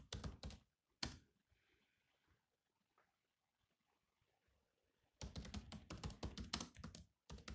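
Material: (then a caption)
Plastic. Fingertips of both hands type fast on the low-profile plastic chiclet keys of a grey metal-bodied laptop, making short, dry, clicky taps with a low thump. Quick bursts of typing open the clip, then a near-silent pause follows before a dense, rapid run of keystrokes resumes and continues to the end.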